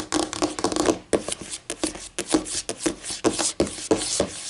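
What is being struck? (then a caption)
Laminate tabletop. Fingernails scratch and rub quickly across a flat, solid white laminate tabletop, with some tapping mixed in. The sound comes as a run of short, bright scraping bursts with light taps between them, carrying a faint midrange tone around 310 Hz and very little low end.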